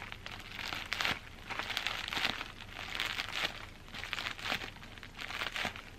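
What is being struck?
Plastic bubble wrap.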